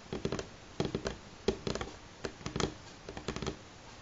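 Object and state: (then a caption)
Solid pine tabletop. Fingernails of both hands tap on a solid light pine tabletop in quick, irregular bursts of about sixteen short, dry clicks. Each tap has a woody knock around 390 Hz with a brief bright edge and almost no ring, with quiet gaps between the clusters.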